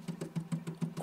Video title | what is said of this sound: Creality K1 VS Bambu X1C the good the bad and the ugly under the microscope | it's much better it does sound hollow